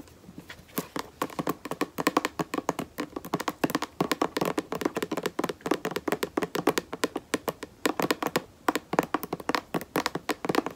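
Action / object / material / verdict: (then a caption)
tap / plastic lotion bottle / plastic / none. Fingertips and long nails tap rapidly along the side of a white plastic lotion bottle held horizontally. Dozens of short, dry, hollow taps come in quick uneven bursts with a mid-pitched tone around 470 Hz. Each tap dies away almost instantly, with little bass or bright top.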